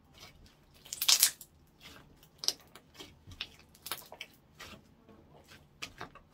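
A translucent orange clear slime blob on a wooden counter is poked and squeezed with fingertips. It gives off short, bright, wet crackles and sticky pops in scattered bursts, loudest in a dense cluster near the one-second mark. Each pop dies away almost instantly, with almost no low-end body.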